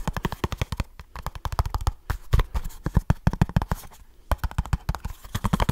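A small kraft cardboard product box is tapped and scratched with fingertips and short nails close to the mic, making a fast, aggressive run of dry, hollow taps with heavy low thump and almost no ring. Brief scratchy rustles fill two short pauses before the rapid tapping resumes.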